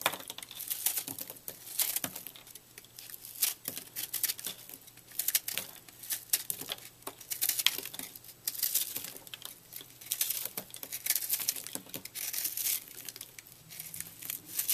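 A utility knife blade cuts and shaves a palm-sized, porous piece of microwaved, puffed purple soap held in the hand, breaking its brittle, airy texture into crumbs. Dense, bright crackling and crisp scraping come in rapid bursts that rise and fall, over a faint steady low hum.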